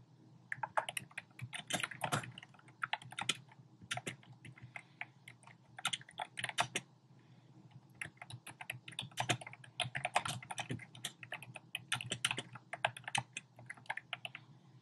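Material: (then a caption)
Plastic. Fingertips and short nails type rapidly on a compact black plastic typewriter-style keyboard with round plastic keycaps. The result is bursts of bright, sharp clicking taps separated by brief pauses, over a faint steady low hum.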